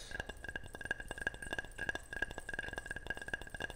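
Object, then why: Ceramic object. A ceramic object is tapped repeatedly at an uneven pace, giving short, bright clinks and chinks with a tone near 1.6 kHz. Each tap dies away almost instantly, leaving only a faint low background between taps.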